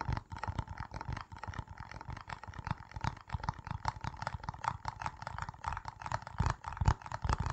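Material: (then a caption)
Plastic. Fingertips and nails tap and scratch the red plastic screw lid and sides of a small, round, hollow-looking jar with a printed label, held in both hands in front of a foam-covered microphone. It is unclear whether the jar is full. The result is a dense, irregular stream of soft, dull, bassy taps mixed with faint scratching, with short, quick-dying hits and occasional louder knocks near the end.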